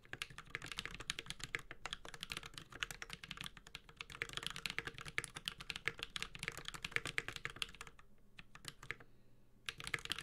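A Space65 Cybervoyager 65% mechanical keyboard with a metal case, Holy Panda switches and ABS plastic keycaps is typed on continuously with the fingertips of both hands. Rapid, bright, short clacks run steadily, broken by a brief lull near the end before the typing resumes.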